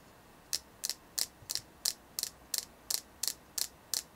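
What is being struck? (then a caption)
Carved selenite (gypsum) crystal tapped with fingernails. A hand-sized solid white carved selenite (gypsum) piece, held in both hands, is tapped and scratched with long painted nails. Eleven short, bright clicks sound at a steady pace of about 1.5 per second. Each is a crisp, high-pitched tap concentrated above 2 kHz that dies away almost instantly over quiet background hiss.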